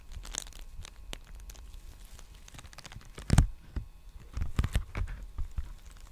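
Fingertips scratch and crinkle the surface of a large, empty black poly bubble mailer envelope held upright. Soft, dry crinkling and scratching rustles throughout, with a louder crunchy burst midway and a cluster of sharper crackles near the end.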